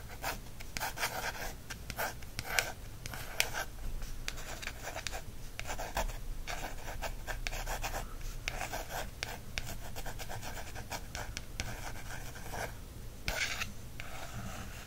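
A thin wooden stick traces and scratches across the coated card cover of a small paperback birds field guide. Repeated dry, raspy strokes come in short bursts with a bright, papery edge, over a faint steady low hum.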